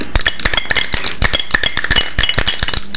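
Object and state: Can shaken with an unknown item inside.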